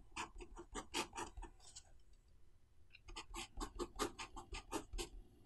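A fountain pen with a metal nib, held in the fingertips, scratches across the thin white pages of an open paper notebook lying flat on a desk while writing Chinese characters. Quick, bright, scratchy strokes come in rapid bursts, pause for about a second, then resume in another flurry.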